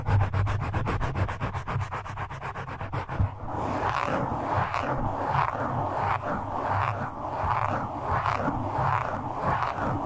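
The fingertips of both hands rub and scratch a soft, porous black foam windscreen on a microphone. It starts with a quick, even run of close scratches over a low, boomy rumble, then changes to slower, swelling rubs that rise and fall about once a second. The sound stays muffled and dull, with almost no bright content.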